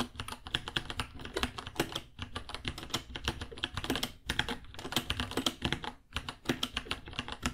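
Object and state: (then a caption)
Plastic mechanical keyboard typing. Fingertips type on a white 66-key mechanical keyboard, about 30 cm long, with plastic keycaps, a hollow case and Gateron Brown switches, priced at $60. Rapid, bright plastic clacks with short, dull low thumps run in quick bursts, with brief pauses near 2, 4 and 6 seconds.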